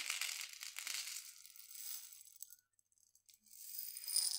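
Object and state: Glass jar of dried mung beans.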